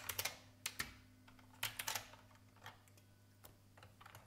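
Fingertips with long red nails from both hands type on a vintage beige IBM mechanical keyboard with plastic keycaps. About fourteen quiet, bright, sharp clicks come in uneven bursts, each dying away almost at once. A faint low steady hum sits underneath.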